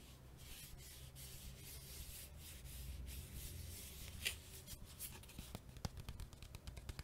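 A small Bicycle playing card deck box made of printed cardboard, likely still holding its cards, is held close and rubbed and tapped with fingertips and nails. Soft, steady scratchy rubbing fills the first four seconds, followed by a series of short, dry, bright taps and clicks with almost no ring.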